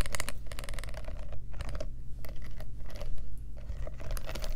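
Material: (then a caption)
Metal studs. Long nails tap quickly on the metal studs of a black studded faux leather clutch purse with a metal clasp. The result is a rapid, continuous stream of light, clicky taps with bright edges over a steady low hum.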